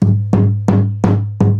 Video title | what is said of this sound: Martin 000 15SM - Repair | it's like something hitting it. And that's because there's a whole load of loose braces in here.